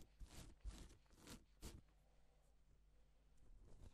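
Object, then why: Plastic sequin fabric sheet. Gloved fingers stroke a flat, reversible pink and silver plastic sequin fabric sheet, drawing a strip and flipping the sequins over. Four soft, crisp swishing rustles are heard in the first two seconds, with bright clicking texture over a low rumble, followed by a fainter, steady scratchy rustle as the strokes continue.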